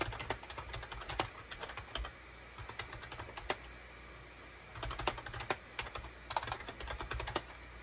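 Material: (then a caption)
Plastic. Fingertips type rapidly on a full-size gray and cream SHIPADOO K600 wired USB keyboard with a hollow plastic case and plastic keycaps, resting on a desk mat. Bursts of quick, sharp plastic clacks with bright tops and a faint low thump are separated by short quiet pauses, each keystroke dying away almost instantly.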